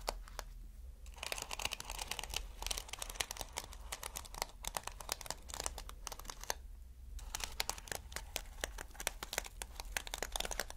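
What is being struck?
Plastic flip-sequin fabric.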